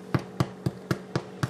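A freshly baked homemade yeast bread loaf is tapped six times to check whether it is done. Each tap gives a short, dull, low thump that fades almost instantly. The loaf sounds hollow, showing it is baked through.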